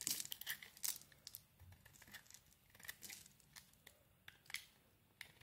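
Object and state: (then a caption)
Bar of soap being shaved. A utility knife blade scrapes and shaves a green solid bar of soap. The result is a quiet run of crisp, bright, irregular scratchy strokes and crumbly shavings, with short sharp bursts between softer scraping.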